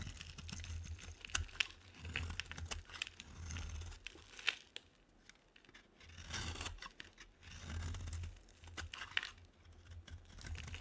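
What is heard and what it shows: A metal utility knife blade scrapes a solid, hand-sized white dry bar soap held in the hand, shaving it into fine shavings. Dry, crunchy, tearing scrapes come in repeated bursts, with sharp bright clicks over a low rumble. Short quiet gaps fall between the strokes.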